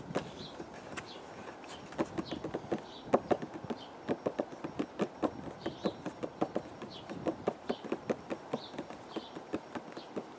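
A small, hollow printed cardboard food box in purple and white teacake packaging is held in one hand and tapped with the fingertips of the other, outdoors in a windy garden. About 34 quick, dry, hollow taps with a mid-range knock around 566 Hz die away almost instantly over a soft background rush of wind.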